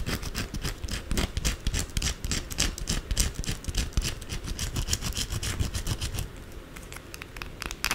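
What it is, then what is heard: Bar of soap scratched with nails. Long blue acrylic nails quickly scratch the sides and corners of a white solid soap bar held upright. The result is a fast, irregular stream of dry, raspy scrapes with bright hissing bursts over a low rumble, and it eases off somewhat near the end.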